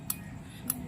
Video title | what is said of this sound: Honda Wave 125i ko e sinuli sakin after 12years. Honda wave 125i restoration head assembly P4. | Dapat tumutunog yan o pakinggan nyo. Yun yung compression release. So palatandaan na functionable yung compression release natin.